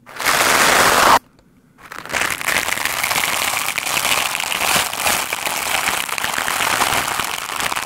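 A black foam microphone windscreen is brushed with the stiff white bristles of a lime-green scrub brush. A loud, dense scratching burst is followed by a brief near-silent pause, then fast, steady crackling and rustling that runs to the end, bright and hissy with almost no low end.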